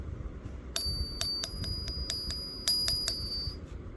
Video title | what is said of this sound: Silver Ping Test Explained 🔔 - How to Tell Real Silver by Sound - Stackers Guide to the Galaxy | it's got about the same ring to it